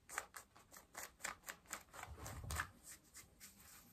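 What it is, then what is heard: Denim jeans scratched with nails. Long nails scratch pale yellow denim jeans at the hip, front and pocket, making about a dozen quick, dry, rasping strokes with bright, crisp texture. A soft low rumble swells under the strokes near the middle, and the scratches fade slightly toward the end.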